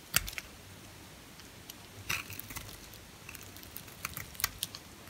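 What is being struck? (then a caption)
Hard bar soap cut with a blade. A red-handled utility-knife blade cuts and shaves a small, solid, white, hard bar of soap held in the hand into flakes. The result is short, bright, crisp scraping clicks that come at irregular intervals against a quiet background, each snapping off with almost no ring.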